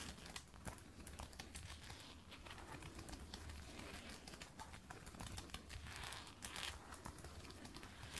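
Long red and black nails scratch and tap along the glossy black lace-up shaft and lacing of a faux leather thigh-high boot worn on the leg. The result is a steady, crinkly scratching texture dotted with quick, dry taps, bright in the upper range over a soft low rumble.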